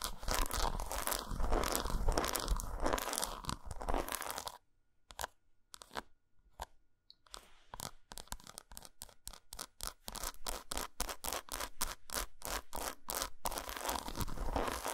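Long pointed nails scratch and tap an unwrapped solid dark chocolate bar lying patterned side up. The first four seconds are a dense, continuous crunchy scratching, followed by a near-silent stretch with a few sparse taps. From about eight seconds, quick bright clicking taps come in a steady rapid stream to the end.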